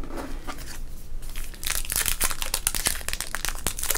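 A small sealed teal baseball card pack with a plastic wrapper, full of cards, is held in both hands with the fingertips, flipped front to back and crinkled and squeezed. Soft rustling gives way after about a second and a half to dense, bright, crackling crinkles with sharp snaps that die out almost instantly.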